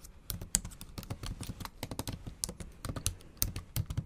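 Fast typing with long acrylic nails on a MacBook Pro's black plastic keys set in an aluminum body, typing in Japanese. A rapid, uneven stream of short, dry clicks and taps, each with a low thud and a bright tick from the nails, dying away almost instantly.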